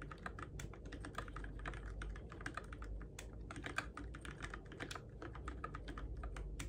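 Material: Plastic.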